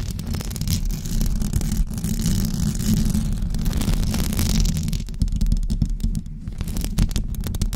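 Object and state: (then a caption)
Knit microphone cover being scratched. Long blue acrylic nails scratch a white knitted fabric cover stretched over a rounded microphone head. The result is a steady, dense, close-up rumbling scrape, mostly low and thick, with faint bright crackle above it and a brief dip in intensity near the end.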